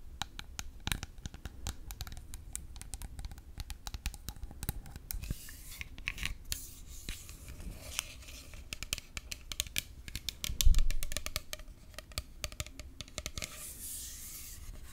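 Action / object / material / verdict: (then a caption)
scrape / plastic bottle / plastic / none. Long acrylic nails scratch and tap along the body of a hollow, partly full grey plastic 118 ml bottle of exfoliant liquid with a white cap. A dense run of quick, dry clicks and scratchy rubs fills the clip, with one louder tap near the end.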